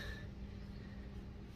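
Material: Nothing is struck.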